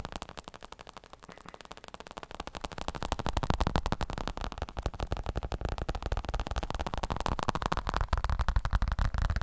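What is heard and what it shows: Fingertips tap rapidly and unevenly on a black padded plastic elbow support pad with a smooth synthetic surface. The taps are dull, low thuds that stop almost instantly, growing louder after the first two seconds and continuing steadily to the end.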